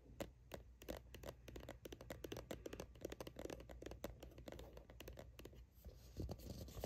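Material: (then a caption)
Plastic. Long acrylic nails from both hands tap and scratch the label side of a plastic sunscreen tube held steady. The result is a rapid run of sharp, dry clicks and scratchy scrapes, each stopping almost instantly, over a steady low hum.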